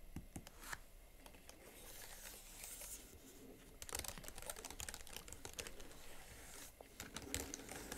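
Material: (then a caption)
Plastic. Both hands type rapidly on the chiclet plastic keys of a slim Huawei MateBook X Pro laptop keyboard, with fingertips and nails tapping the keys. A quiet, steady stream of short, bright plastic clicks and taps runs throughout, with a few sharper, louder taps standing out.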